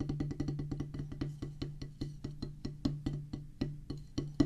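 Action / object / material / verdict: strike / rubber practice pad on wooden base / rubber / none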